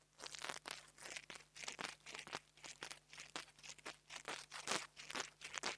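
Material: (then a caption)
Metal. The tip of a metal nail art tool taps and scratches the metal grille top of a small black plastic clip-on mini lavalier microphone held in fingers with long nails. The result is a quick, irregular series of crunchy, scratchy bursts, mostly bright with very little low end, over a faint steady low hum.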